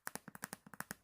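A smooth, soft brown-and-black leather Bible cover with a cross design is tapped eleven times in quick, uneven succession. Each tap is a short, dull, muted pat that dies away almost at once.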